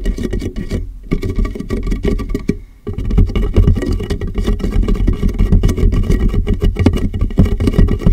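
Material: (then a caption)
Plastic. A large, empty, clear plastic water jug sits hollow and upside down on a microphone while fingertips tap its base and sides. The result is a fast, irregular patter of deep, boomy, hollow thumps with short decay. It pauses briefly near the one-second mark and again just before three seconds, then continues steadily to the end.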